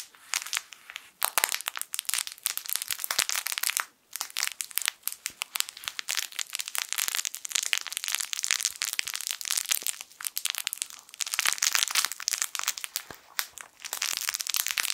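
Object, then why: Soft fabric toy with plastic crinkle film inside. A yellow sun-shaped plush fabric crinkle toy with crinkle film inside is squeezed and rubbed with fingertips. It makes dense, continuous crinkling and crackling that is bright and high with almost no low end, broken by brief pauses near 1 and 4 seconds.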